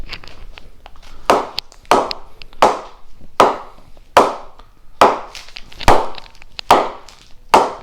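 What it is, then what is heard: Well-pressed willow cricket bat with a good ping. A new SS TON willow cricket bat, weighing 1165 g with its wrap on, gets a ping test: its blade is knocked repeatedly, about once a second. Each knock gives a sharp, woody ping centred around 800 Hz with a quick decay, between softer taps. The bat is judged to have a nice ping and to seem well pressed, with a harder punch.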